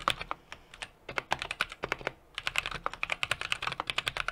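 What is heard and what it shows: A small 60% mechanical keyboard with an aluminum case, brass plate and plastic keycaps is typed on rapidly with the fingertips of both hands. About 34 short, crisp, bright clacks come in quick bursts, with a brief pause partway through. There is almost no low-end thump and no lingering ring after each tap.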